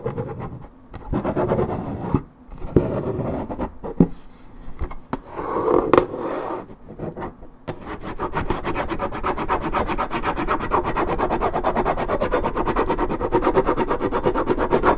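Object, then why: Coated paperboard juice carton. Long red nails rub and scratch the top of a hollow Minute Maid orange juice carton made of coated paperboard, held in one hand. Dry, papery rasping comes in uneven bursts with short pauses, then settles into a steady, rapid scratching that runs to the end, mostly low and mid in tone with little brightness.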